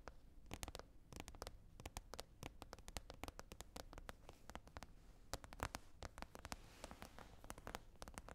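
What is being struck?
Plastic container lid.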